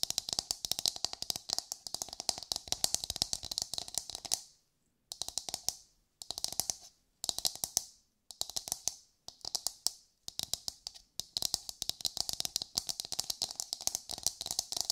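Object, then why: Coconut shell half. A brown, hard and hollow coconut shell half is held in the hands and tapped and scratched with long nails. Fast, crisp, high-pitched clicks come in dense runs, broken by brief silent pauses. Each tap is dry and dies away almost at once.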